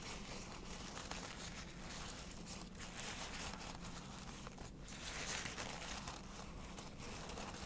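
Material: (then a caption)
Rose petals. Fingertips and nails scratch and tap across the soft, densely packed petals of a large round bouquet of preserved white roses in a dark box, then the bouquet is held up near the face with the hand still resting on the roses. The result is a steady, quiet crinkling and rustling with bright, papery scratches over a low, constant hum.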